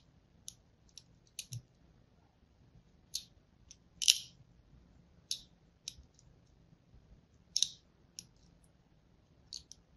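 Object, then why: Striped soap bar. A fine blade scores lines into the face of a solid pink and white striped soap bar held in the hand. Each stroke makes a short, bright, crisp scratching click with almost no low end, coming in irregular bursts over a quiet background, with a couple of strokes slightly louder than the rest.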